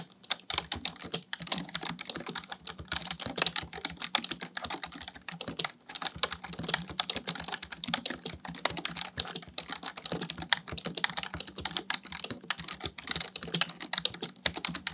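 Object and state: Plastic computer keyboard being typed on.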